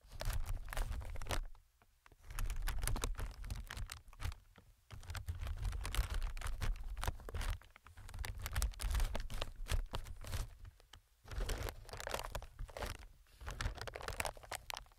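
Fingertips tap and scratch across a clear, inflated plastic-film air packing pillow, producing dense bursts of crinkly, crackling patter. The bursts are separated by brief pauses and sit over a strong low rumble, with quick, dry clicks that die away almost instantly.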